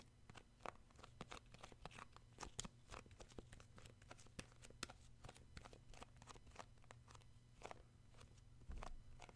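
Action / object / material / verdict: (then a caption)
tap / plastic cosmetic jar / plastic / none. Fingertips grip and tap the lid rim and side of a round plastic shea butter tub, a cosmetic jar held sideways. A quiet, rapid stream of short, dry, clicky taps with bright edges plays over a steady low hum. The taps die away almost instantly, with a denser cluster near the end.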